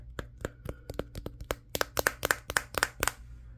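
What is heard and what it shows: Fingertips tap the matte glass back of a Samsung Galaxy S23, near the camera module, while the phone is held in one hand and records itself. Sixteen short, dry taps come in a quick, uneven rhythm, each with a faint ringing tone, over a steady low hum. The second half grows louder and brighter.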